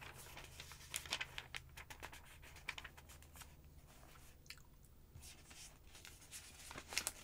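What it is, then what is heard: Paper phonebook pages. Long-nailed fingers turn and flatten the pages of a thick paper phonebook with glossy advert pages. Crisp, bright crinkles and papery rustles come in quick bursts over a steady low hum. Louder swishes mark each page turn, with quieter smoothing in between.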